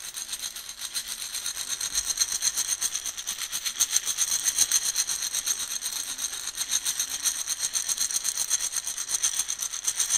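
Coffee beans in a round, shallow plastic container are held in one hand and swirled and shaken so the beans roll around inside. A steady, bright rattling hiss pulses in quick waves, with almost no low end and no clearly separate hits.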